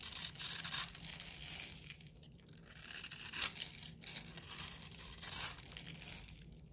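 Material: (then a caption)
Soap. A round, solid blue-and-white bar of soap held in the palm is scraped and carved with a metal utility knife blade, shedding soap shavings. The blade makes a steady run of bright, crisp scraping and tearing strokes that swell and fade in loudness, with almost no low end.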